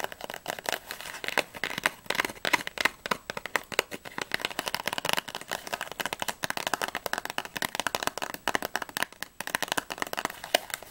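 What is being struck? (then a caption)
Small printed cardboard box. Long nails rapidly tap and scratch the back panel and edges of a small, closed, hollow printed cardboard Ahoj-Brause candy box as it is turned in the hands; its contents are not visible. The result is a dense, fast stream of crisp, dry clicks and scrapes with a bright papery edge, almost no low end, and no ring after each tap.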